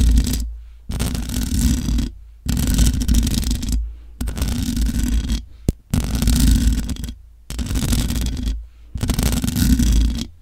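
Long acrylic nails scratch the sides and top of a black matte metal USB desktop microphone's hollow mesh grille. Several bursts of rough, rustling scraping are separated by brief silences, with a heavy low rumble under a bright hiss and a single sharp click partway through.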